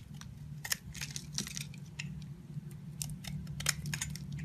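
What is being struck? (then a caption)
Bar of soap cut with a knife blade. A utility knife blade scrapes and cuts chunks off a solid pink and lilac bar soap with a heart pattern, now mostly carved and held in the hand, as shavings pile up below. Crisp, bright scraping and cutting ticks come in short bursts over a steady low hum.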